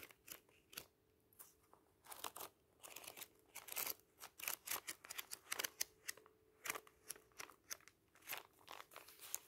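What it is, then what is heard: Thick paper booklet. Fingers riffle and flip the pages of a thick bound booklet of thin paper pages resting on tissue paper. A rapid run of quiet, short, crisp bursts of bright paper rustling and snapping, each dying away almost instantly, with almost no low end.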